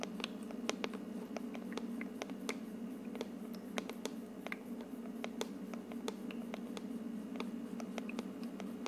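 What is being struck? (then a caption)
Plastic aroma diffuser dome. Long painted nails tap and scratch on top of the translucent frosted plastic dome of a hollow, medium-sized ultrasonic aroma diffuser with a wood-look plastic base, running with mist and glowing lights. Many quick, bright, dry clicks and light scratches sound over a steady low hum from the running diffuser, each tap dying away almost instantly.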